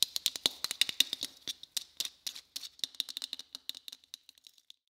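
Fingers tap on a white Christmas bauble in a quick, uneven series of light clicks, about 27 in all. Each tap is dry and short with a bright, hard tone centered near 3.7 kHz and almost no low end. The taps thin out and grow softer toward the end.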